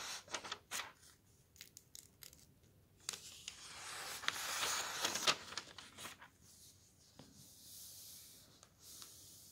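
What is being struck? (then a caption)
Softcover book of thin paper pages. A thick softcover book of thin printed paper pages lies open on a table while bare fingertips slide over and turn the pages, and a flat hand rubs across the open page. Quiet, bright paper sounds follow: short crisp flicks and rustles as pages turn, and a longer, louder swishing rub in the middle. Later comes a soft, steady papery hiss.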